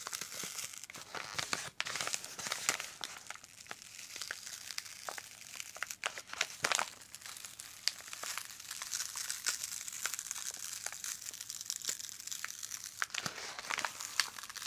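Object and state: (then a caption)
Paper padded mailing envelope. Gloved hands grip, crumple and rub a yellow kraft-paper padded mailing envelope with an address label, not yet fully opened, near its open flap. A steady, dense stream of crisp crinkling and crackling fills the clip, bright and papery with no low end, broken by many sharp, short snaps that die away almost instantly.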